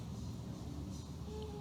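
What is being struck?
Nothing is struck.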